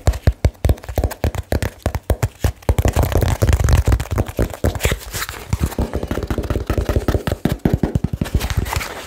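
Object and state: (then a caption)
Cardboard box. A small, taped, hollow and apparently empty cardboard box is held in the hands and tapped very fast on its faces and edges with fingertips and nails. The result is a rapid, continuous run of dull, low, boomy thumps with almost no ring, mixed with lighter clicks and a faint papery scrape.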